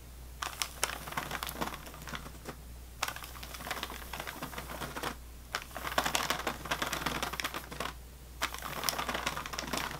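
Fingernails tap and scratch along the ridged side of an unopened, plastic-wrapped sleeve of saltine crackers resting on a table. Rapid, crisp clicks and bright crinkly scratching come in bursts separated by brief pauses. A steady low hum runs underneath throughout.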